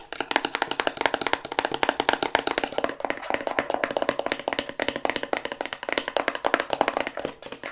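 Long white acrylic nails rapidly tap a small white hexagonal cardboard cosmetics box with a gold star as it is turned in the hands. A fast, continuous patter of crisp, dry, papery clicks fills the clip, with no low end and almost no ring after each tap.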